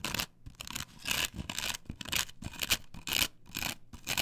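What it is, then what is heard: Plastic stencil on wooden board, scratched with nails. Long nails scratch and rub across a flat, perforated plastic stencil template glued to a wooden board. Bursts of bright, raspy scratching repeat at an uneven pace of roughly one per second, separated by brief quiet gaps.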